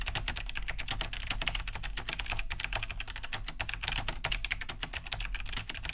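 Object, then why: Plastic mechanical keyboard. Both hands type fast with their fingertips on a large beige Cherry G80-3000 keyboard fitted with Kailh BOX White switches, with a hollow plastic case and thick plastic keycaps, resting on a wooden desk. A dense, steady stream of sharp, clicky key-switch taps is heard, bright on top with a low thump from the hollow casing.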